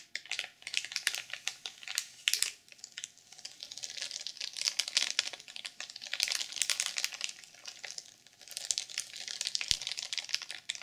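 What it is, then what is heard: Sequin-covered journal in plastic wrap. Long purple acrylic nails scratch and tap the cover of a rectangular, notebook-sized black sequin journal, still sealed in clear plastic film and lying flat on a pink wooden table. The result is bright, crinkly scratching and dense, rapid clicking in uneven bursts, with almost no low end.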